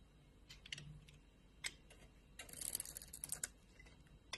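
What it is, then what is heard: Soap bar being scraped into shavings. A utility knife blade scrapes a hand-sized solid orange soap bar with dark spots, held in the palm, down into crumbly shavings. Quiet, bright, crisp scratches and ticks come in sparse strokes, then a denser crackling run in the middle, each sound cutting off almost instantly.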